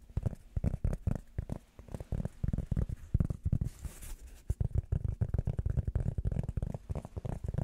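A flat, round blue rubber foam disc held in the hands is tapped rapidly with fingertips and nails, making a dense run of soft, dull, low thuds. Around the middle a brief, faint scratchy hiss is heard before the muffled tapping resumes.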